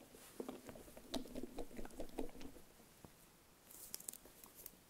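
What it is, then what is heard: Metal food can tapped with nails. A full steel tin can of chickpeas is briefly tilted by hand, giving a soft, uneven patter of dull, muffled knocks. It then stands upright while long nails tap its metal lid, producing a quieter spell followed by a few sharp, bright clicks with very little ring.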